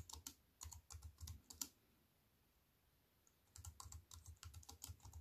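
Fingertips with long white nails type on a compact wireless plastic computer keyboard with black plastic keys and a silver aluminium frame, resting on a wooden table. Quick bursts of bright clicky keystrokes with soft low thuds fill the first second and a half, then stop for a quiet pause of nearly two seconds. The irregular typing then resumes and continues to the end.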